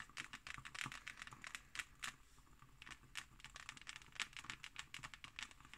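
Long nails scratch and tap on the embossed, textured cover of a closed, thick hardcover book. The sound is a quiet run of quick, dry, bright scratches and clicky taps that stop almost instantly, with a faint low rumble underneath.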